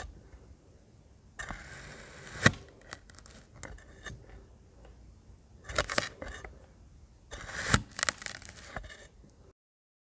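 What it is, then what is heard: Kinetic sand discs cut with a knife. Three small, solid, compacted discs of blue and green kinetic sand on a yellow board are cut and pressed through by a yellow-patterned knife blade. Bursts of crunchy cutting and scraping come in clusters, with sharp bright crackles and a few louder snaps, separated by quiet gaps.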